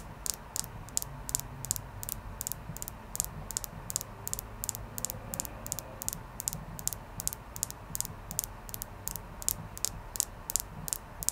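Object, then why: Clear quartz crystal. A clear quartz crystal is tapped repeatedly, giving a steady run of about forty quick, light clicks. Each tap is bright and high-pitched and dies away almost instantly, over a faint low background hum.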